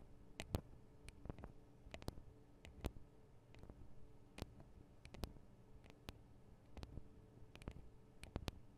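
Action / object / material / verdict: tap / small metal microphone capsules on a recorder / metal / none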